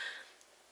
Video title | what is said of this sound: My New Chanel Bag - Why I didn't buy a Lady Dior | that is a solid bag i mean you can knock on it it sounds like you're knocking out a piece of wood